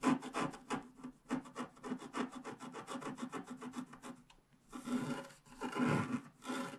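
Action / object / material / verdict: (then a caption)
scrape / wax-coated scratch art paper sheet scraped with a wooden stylus / coated paper / none. A wooden stylus scratches the grass and the lower left flowers into a wax-coated scratch art paper sheet, a flat coated card lying on a table. A quick run of short, dry scratching strokes gives way to a brief pause and then longer, louder rasping scrapes with a bright, papery edge.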